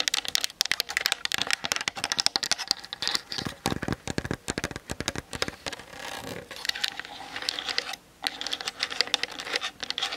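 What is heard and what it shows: Long fingernails tap rapidly on the top and sides of a plastic-bodied Canon DSLR mounted on a tripod. Dense, bright, dry clicks come in quick bursts with almost no ring, broken by a softer scratchy stretch around the middle and a brief pause near the end.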